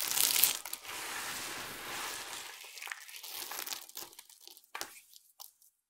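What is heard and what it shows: Fingertips rub and crumble a pile of dry, colorful soap chips, and cupped hands lift and squeeze a handful before spreading at the pile's edges. A loud, bright crunching burst gives way to a steady dry, crinkly rustle. It then thins into scattered, sparse crackles that fade out.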